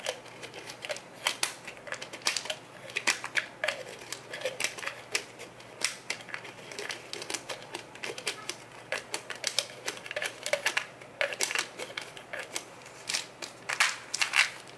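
A small brown plastic Nature Made Iron vitamin bottle, hollow and likely partly full of tablets, is held in both hands while the fingertips twist, click and tap its yellow plastic cap. A dense, uneven stream of short, dry, bright clicks and taps runs throughout, each dying away almost instantly, with no low-end body.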